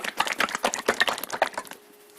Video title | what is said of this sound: Motor oil, a basic explenation | you can actually hear it because it flows that much better